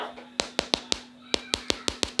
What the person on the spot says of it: when you tap on it it feels like plastic can you hear the sound when i tap on it